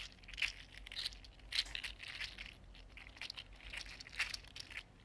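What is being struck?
Articulated 3D printed plastic fidget toy.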